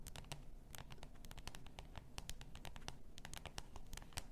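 Long nails scratch the label of a full glass bath salt bottle lying on fur. The result is a quiet, steady stream of quick, dry scratching ticks with bright, crisp edges over a soft, low rumble.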